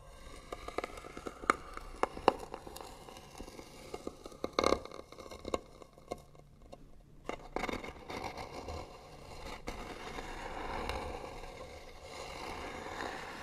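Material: Wood.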